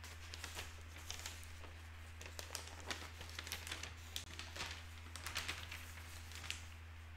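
A large folded broadsheet newspaper of thin paper lies open on a wooden table, with a pen resting unused on a notepad beside it. Fingertips turn and smooth down the pages, making a steady run of soft, bright crinkles and rustles over a constant low hum.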